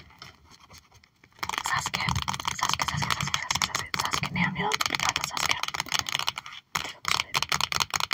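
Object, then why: Plastic sleeve pages of a card binder. Long acrylic nails tap rapidly on a trading card binder page with cards in clear plastic sleeve pockets. After a quiet first second, a dense, bright clatter of quick crinkly plastic taps runs almost continuously, with brief pauses near the four- and seven-second marks.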